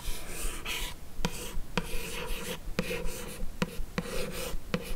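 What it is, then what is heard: Paperboard gift box, scratched with nails. Long acrylic nails scratch and trace across the lid of a closed, hollow, light blue rigid paperboard beauty box, making a steady dry rasping rub. Seven sharp nail clicks cut through the scratching at uneven intervals, each dying away almost instantly.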